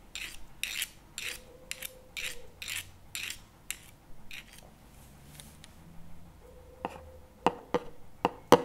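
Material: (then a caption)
Plastic. Two wooden chopsticks work on the lid of a CremaNovi plastic spread tub lying on its side with the lid facing out. A run of short, rasping scrape strokes comes first, then a quieter stretch. The clip ends with sharper, clicky taps, while a faint steady tone sits underneath at times.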